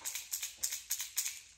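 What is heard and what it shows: A plastic Strike King lipless crankbait lure with BB rattles is shaken, producing quick, bright rattling bursts that come in close pairs, almost entirely high-pitched clatter with no low end. Its rattle sounds different from that of a Rat-L-Trap lure.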